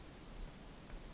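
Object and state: Nothing is struck.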